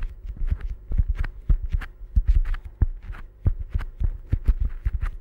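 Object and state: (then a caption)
Rubber stress ball. A small solid yellow rubber stress ball is squeezed and rubbed between the fingertips up close. The result is a rapid series of soft, dull, low thuds and muffled rubbery presses with faint brighter squeaks. Each sound dies away almost instantly.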